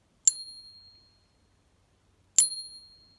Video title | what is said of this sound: Silver Bullion & Coins - Real or Fake! Quick tips | it has a ring but it doesn't ring as long